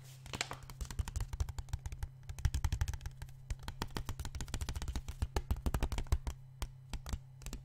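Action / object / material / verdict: tap / plastic water bottle, partly filled with water / plastic / none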